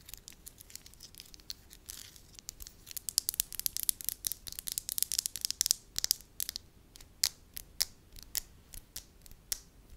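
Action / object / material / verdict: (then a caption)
scrape / soft wax sheet / wax / none. A soft, pale-yellow wax sheet is held at the fingertips while hands with long nails stretch, fold and crinkle it. Dozens of quick, crisp clicks and crackles come in irregular bursts, bright and sharp with almost no low end, thinning into sparser, louder snaps toward the end.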